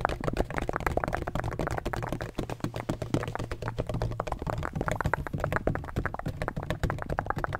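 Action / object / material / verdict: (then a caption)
tap / hollow textured plastic ring-shaped bottle / plastic / none. Fingertips rapidly tap and scratch the textured surface of a large, black, donut-shaped hollow plastic bottle with a red cap. The result is a dense, continuous stream of short, dry clicks and taps with almost no ring, over a steady low hum that holds most of the energy below 200 Hz.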